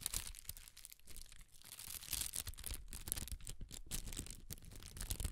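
A large sheet of red tissue paper, held by its corners, is waved and crinkled. Soft, continuous rustling and crackling fill the clip, with a bright, airy hiss over a low, muffled rumble as the sheet flaps and folds.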